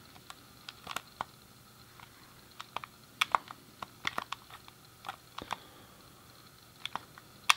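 Fingertips and a thumb press and click the colored face buttons, D-pad and start/select buttons on a hand-sized, hollow grey plastic SNES game controller. About twenty short, sharp, bright plastic clicks come at an uneven pace, each dying away almost instantly over a quiet background.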